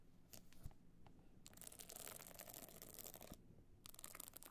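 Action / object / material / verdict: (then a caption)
scrape / box clutch encrusted with small stone chips / stone chips / none. A rigid, hollow box clutch encrusted with small stone chips is scratched by long nails across its bumpy surface. Bursts of bright, gritty scratching are heard, with a long dense stretch in the middle and another near the end. Quieter pauses with faint ticks separate them.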